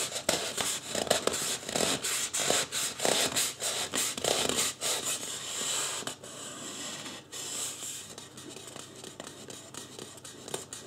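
Fingertips rub and scratch the top and side of a life-size white polystyrene foam (styrofoam) mannequin head. Rapid, bright, dry scratching and squeaky rubbing comes in dense bursts for the first six seconds. It then settles into a quieter, smoother rub with scattered sharp scratches.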